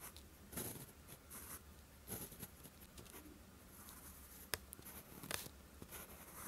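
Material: Paper.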